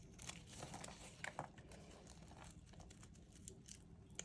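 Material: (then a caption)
Soap. A thin metal blade held in pink-gloved hands scores and scrapes grooves into the face of a solid white rectangular bar of dry soap, lifting curled strips over a wooden tray of shavings. The sound is a quiet, steady, dry crinkling scrape with bright, crisp crunches and a few sharper clicks that stand out.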